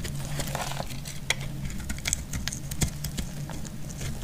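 A partly carved, solid purple bar of dry soap held in the hand is cut and scraped into flakes with a metal utility blade. Many quick, dry, crisp scraping clicks with bright, high edges sound over a low, steady hum.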